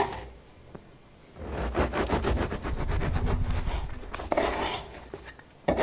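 A serrated bread knife saws lengthwise through a whole floured ciabatta loaf with a hard crust, resting on a round wooden board. After a quiet start, rapid back-and-forth rasping strokes from the crust fill the middle of the clip with a dull low body, likely partly from the board under the blade. It ends in a fading scrape with a few sharp clicks near the end.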